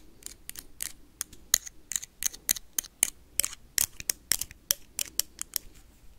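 A small glowing blue toy lightsaber with a hollow plastic blade and a metal-look hilt is tapped and scratched rapidly with metal paperclips worn on the fingertips. About 22 sharp, bright clicks and short scratches come in an uneven, fast rhythm. Each is very high-pitched and dry, with no ring after it.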